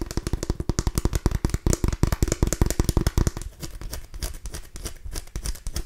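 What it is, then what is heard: Small pumpkin tapped and scratched. A small orange mini pumpkin with rough skin, a hollow gourd, is held up by the mic and scratched and tapped with long nails and fingertips. Rapid, uneven taps land as dull, low, hollow thumps with crisp clicks for the first few seconds. They then give way to softer, lighter tapping and scratchy rustling.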